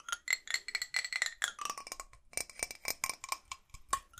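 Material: Metal.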